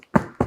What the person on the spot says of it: if I shake this box it's Hollow on top and it's moving so that's not a good sign so right off the bat not a good sign